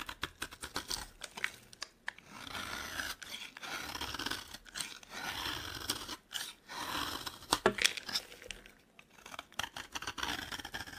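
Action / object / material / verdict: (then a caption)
scrape / bar of soap scraped with a metal blade / soap / none. A metal blade scrapes and shaves crumbly flakes from a solid yellow dry bar of soap held in the hand. Crisp, bright, crunchy scraping strokes come in quick bursts with short pauses between them, each with no ring after it.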